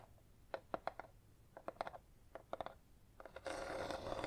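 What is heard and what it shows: Long red acrylic nails tap a small, apparently hollow red box with a linen-textured paper/cardboard finish held in the hands, giving about 16 quick, dry, hollow taps in irregular clusters with a mid-pitched tone near 680 Hz. In the last second the nails scratch across the lid and sides, making a steady, louder, bright rasping scrape.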